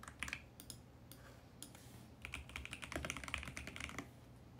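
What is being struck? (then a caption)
Plastic mechanical keyboard. Fingertips type on a compact VGN X68 mechanical keyboard with purple, teal and pink plastic keycaps on a mint plastic case, resting on a white desk. It makes quick, bright, clacky key taps with a soft low thud underneath, in an uneven rhythm. A few scattered presses and a brief lull give way to a denser burst of typing.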